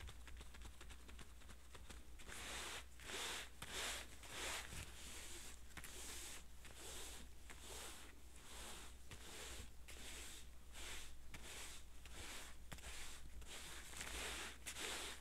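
Hands in yellow rubber gloves rub and massage an old pair of light blue denim jeans lying flat with a stitched seam. Soft, bright swishing and scraping strokes repeat in a loose rhythm, with a faint squeak from the gloves over a steady low hum.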